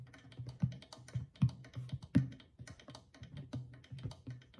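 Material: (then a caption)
Clay, goatskin. A small hollow clay drum with a stretched goatskin head, held at the side, is tapped quickly on the skin near the rim with long fingernails. The taps come in an uneven stream of short, clicky attacks over a low, hollow thump around 130 Hz, with some strokes landing noticeably harder. Each tap dies away almost at once, with only a brief low resonance after it.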